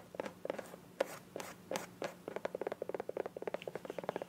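Long nails scratch and tap the body of a small, hollow green soft plastic squeeze bottle with a white cap. A few longer, brushy scratches give way to a quick run of short, dry, hollow clicks centred around 550 Hz, with little ring after each tap.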